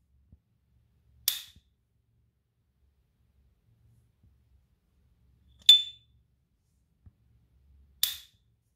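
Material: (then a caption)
Plated metal. A small S. T. Dupont Ligne 2 Montparnasse lighter, with a silver-plated hollow metal case and a diamond-head guilloché pattern, is held in a white cotton-gloved hand while its hinged metal lid is flicked open and snapped shut. Three bright, high metallic pings ring out around 3.5 kHz, each decaying quickly, with near silence between them.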